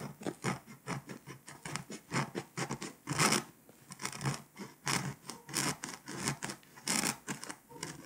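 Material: Foil paper.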